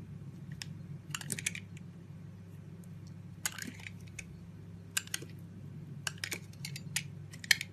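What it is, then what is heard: Bar soap being scraped with a knife. A small red-handled utility knife scrapes and carves thin layers off a hand-sized solid blue bar of soap held in the palm by a hand with long white nails. Short, crisp, bright scratching bursts come in scattered clusters over a steady low hum, each stopping dead with no ring.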